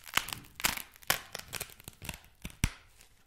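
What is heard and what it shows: Fingers squeeze, crumple and scratch a single solid, palm-sized block of white packing foam. The result is a series of sharp, dry crackles and squeaky crunches, bright and brittle, each stopping instantly with no ring.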